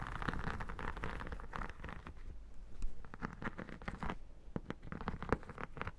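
Long nails tap and scratch the textured holographic vinyl surface near the far edge of an iridescent textured vinyl photo album lying flat. The result is a steady run of quick, soft taps and dry scratchy crackle, weighted low with a few sharper clicks.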